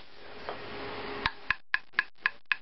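A dry, seasoned wooden walking stick with browner, drier bark, one that had been down longer, is tapped six times in steady succession after a soft rustling hiss. Each tap gives a short, hard, woody click with a resonant ring around 1.7 kHz, marking it as drier and harder than a damp green stick.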